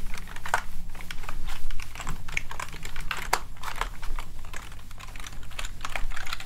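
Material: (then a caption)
Plastic. A small cleaning gel blob is rolled and pressed with the fingertips over the keys of a plastic gaming keyboard held upright. It makes a steady run of quick, light clicks and soft tapping rattles, with a constant low hum underneath.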